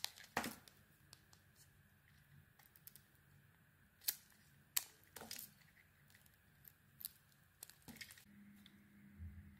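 A metal blade carves a solid pink-coated white soap bar, making quiet, bright scraping and shaving strokes. About 13 short, crisp cuts stand out irregularly over a faint hiss. A low steady hum enters near the end.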